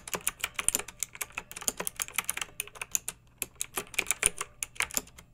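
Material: Plastic.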